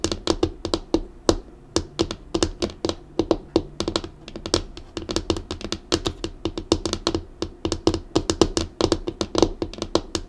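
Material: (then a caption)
Laminate. Long acrylic nails tap rapidly and unevenly on a flat, dark, solid laminated desktop. Each tap gives a short, dry click with a low, knocking body. The taps fall in quick clusters and die away almost instantly.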